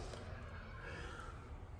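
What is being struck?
Nothing is struck.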